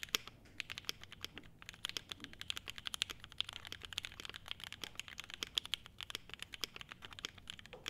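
A clear polycarbonate-case 75% mechanical keyboard with ABS keycaps, foam-damped, is typed on continuously by both hands with the fingertips. The result is a dense, steady patter of short, bright clicks with almost no low end and a faint ringing high tone running through the strokes.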